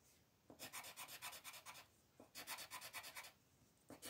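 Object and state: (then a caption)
Colored pencil rubbing on paper. A light green colored pencil rubs back and forth across a flat white paper sheet with a printed mandala, filling in the petals. Seventeen quick, bright scratchy strokes come in three bursts, separated by short near-silent pauses.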